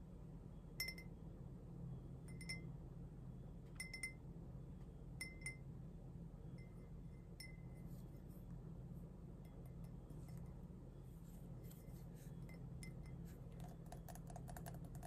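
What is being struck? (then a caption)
Glazed ceramic mug. An empty, hollow pink glazed ceramic mug is tapped and traced with long fingernails on its body and rim. Sharp clinking taps ring around 2 kHz with bright edges, spaced at first and then growing quicker and denser. A steady low hum sits underneath throughout.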